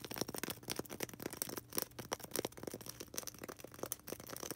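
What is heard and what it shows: Long red nails scratch fast across a small, solid white polystyrene foam ball. Quick, dry, bright strokes squeak and rasp in a dense, uneven series, each dying away almost instantly. The sound stays quiet throughout.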